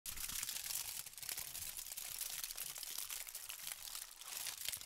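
A thin, crinkled sheet of aluminum foil is held in both hands while fingertips with pink painted nails crumple, squeeze and rub it. The result is a steady, dense stream of sharp, bright crackles and crinkles with almost no low end, each snap dying away instantly.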